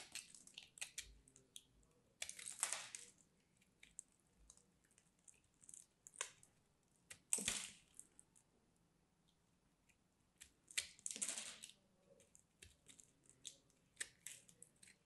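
A small metal blade scrapes and carves a hand-sized, solid, roughly round chunk of hard, dry, crumbly mint-green soap held in fingers with painted nails, while crumbs fall onto a striped cloth below. Quiet, dry, bright crackling and crisp clicks run throughout. Three longer, louder rasping scrapes stand out near the start, middle and later part of the clip.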